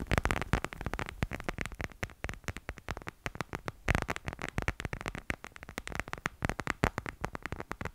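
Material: Plastic.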